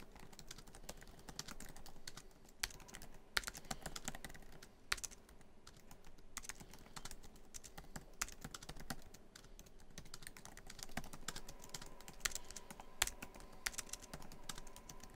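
Fingertips of both hands type quickly on a MacBook Pro keyboard, its black plastic keys set in a hollow silver aluminum laptop body. A steady stream of short, bright, clicky key taps sounds throughout, with a few sharper, louder strikes standing out from the continuous patter.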